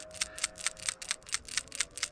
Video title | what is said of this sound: 2014 Kia Rondo: Replacing a PCV Valve (Positive Crankcase Ventilation) on a 2.0 Liter GDI Engine | Wow. It is slick inside that valve. And it clunks really loud and easy.